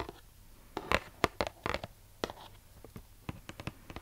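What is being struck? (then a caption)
Printed cardboard box. Long nails scratch and tap across the surface of a purple printed cardboard box of brookie baking mix, roughly book-sized and hollow with contents inside. About thirteen quick, dry taps and scratches ring out over a quiet background, each cutting off almost instantly with a bright, papery edge.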